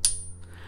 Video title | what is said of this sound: Product Review: Money Metals Pocket Pinger! | doesn't sound too good off the bat does it